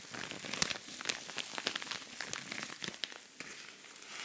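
Fingernails scratch across a flat, medium-sized silver rhinestone-covered cosmetic pouch with a pink zipper edge that looks empty. A continuous bright, crackly scratching is heard, dotted with sharp, quick clicks and ticks that die away instantly, with almost no low end.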